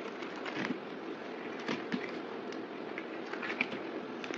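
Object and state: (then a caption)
Bar soap being scraped. A yellow box cutter blade shaves and scrapes a solid oval white bar soap with printed lettering, held in the hand and turned between cuts. A steady dry, crackly scraping runs throughout, punctuated by brief louder scrapes with bright edges.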